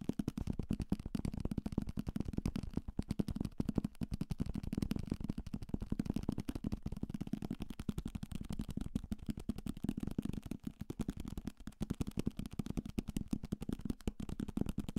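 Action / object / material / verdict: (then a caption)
tap / paperback book, paper / paper / none. A paperback novel with a paper cover and thick page block is held in the hand and rapidly tapped with the fingertips on its cover and spine. The result is a dense, continuous stream of quick, dull, low-pitched taps with almost no ring, each dying away instantly, and no brightness above the low thuds.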